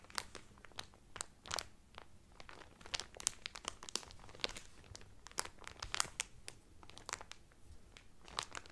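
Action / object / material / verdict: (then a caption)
scrape / cellophane-wrapped cotton towel / cellophane / none. Fingertips and nails of one hand rub and crinkle the cellophane wrapper on a folded cotton Carnival Cruise towel. The result is a quiet, steady stream of sharp, bright crinkles and crackles, with short snaps that stop instantly over a low, soft rustle.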